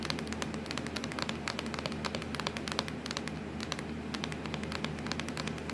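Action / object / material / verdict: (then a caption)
tap / plastic laptop lid / plastic / none. Long acrylic nails tap and scratch rapidly across a hollow, black textured plastic laptop lid. The result is a dense, steady stream of sharp, bright clicks and crackly scratching over a faint, constant low hum.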